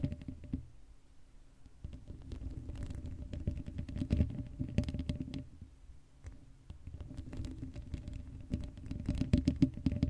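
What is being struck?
Metal mesh microphone grille.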